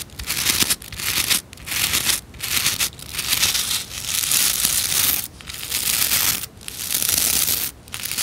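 Long nails flick and scratch the stiff nylon bristles of a white plastic scrub brush held in both hands. The result is a dense, bright, crackling scratch with little low end, coming in repeated bursts separated by brief pauses.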